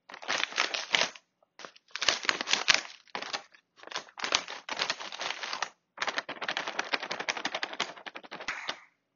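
Fingertips and a palm tap, press and crinkle the surface of a large, crinkly plastic-foil Cuttlefish Snack chip bag, full of chips and lying flat on a marble table. Dense, bright crackling comes in bursts of a second or so, separated by short silences. The crinkles are sharp and dry, with almost no low end and very little ring.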